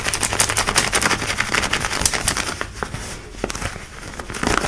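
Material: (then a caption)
Denim. Long nails scratch fast over light blue denim jeans worn on the hip, across the pocket and rivet. Dense, bright, crackly scratching comes in rapid, uneven strokes, easing a little in the middle before picking back up at the end.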